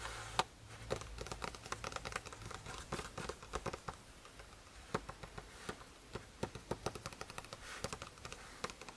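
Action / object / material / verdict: tap / paper notebook page / paper / none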